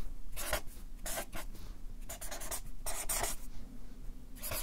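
A Sharpie marker writes on a stack of white paper on a clipboard, its felt tip scratching and rubbing across the sheets. Short bursts of bright, breathy scratching strokes come and go with brief pauses, over a faint low rumble.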